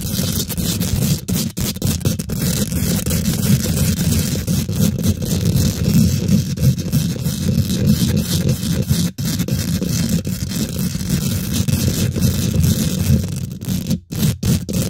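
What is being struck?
Steel wire-mesh microphone grille.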